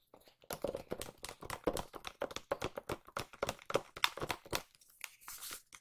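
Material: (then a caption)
Cardboard. A small white cardboard watch box is tapped on its flat faces with fingertips and nails, giving a quick run of dry, crisp taps with some crinkly texture. The taps vary in pace and loudness, each dying away almost instantly, and the clip ends in a softer scratchy rustle.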